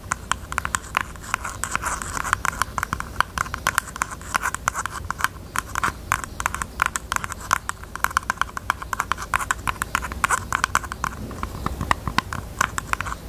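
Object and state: Jewelry box.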